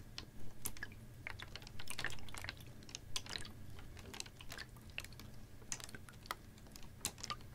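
A capped, clear ribbed PET water bottle about half full of water is tilted, tapped and squeezed with fingernails. Quick, dry clicks and crinkly plastic taps come at an uneven pace, some bright and sharp, over a steady low hum, with faint sloshing as the bottle tips.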